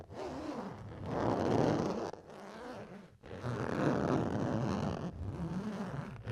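A red plastic chopping board is scratched in long, repeated strokes, producing a coarse, dry rasping noise. The sound is mostly midrange, with brief quiet gaps between the passes.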